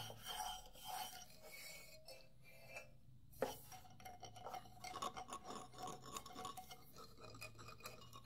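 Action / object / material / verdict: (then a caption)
scrape / wooden xylophone bars / wood / none. Solid wooden xylophone bars are scratched with the fingertips and nails of both hands in a raspy rubbing motion, close to a microphone. Dry, scraping rasps come in uneven bursts, with a faint woody ring around the bars' tones and one sharper tap-like peak midway.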